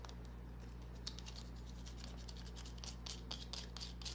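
Long nails scratch and rub a small solid green bar of soap held in the palm, making quiet, irregular bright scratchy ticks and rasps. A steady low hum runs underneath throughout.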